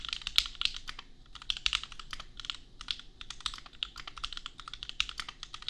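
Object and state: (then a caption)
Mechanical keyboard with plastic keycaps. Fingertips of both hands type on a compact $250 custom mechanical keyboard with Gateron Milky Yellow switches and red/pink plastic keycaps. A steady run of quick, bright, clacky keystrokes with almost no ring or low end clicks along at a quiet level.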